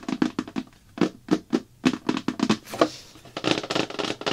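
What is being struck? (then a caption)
Plastic bucket lid. Both hands rapidly tap the thin, hollow-backed, round blue plastic lid of a slime bucket lying flat on a table, using fingertips and long dark nails. The quick, hollow plastic knocks are short and dry, each with a low-mid body and bright clicky edges. They come in irregular flurries that get denser toward the end.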